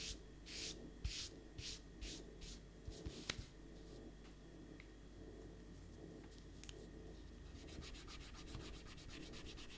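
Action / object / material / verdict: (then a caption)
scrape / pencil eraser on a stack of thin paper sheets / paper / none. An eraser rubs out a pencil drawing on a stack of thin white printer paper sheets in continuous rubbing strokes. Soft, breathy, bright scrubbing bursts come in slow strokes at first, ease off in the middle, then return as quicker, finer rubbing, all over a faint low hum.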